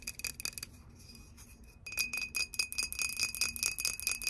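Long nails tap rapidly on a clear, hollow, apparently empty glass whiskey bottle held sideways, striking both the glass and its paper label. The taps give short, bright, glassy clicks over a faint steady high ring. After a softer middle stretch, the taps return louder and denser.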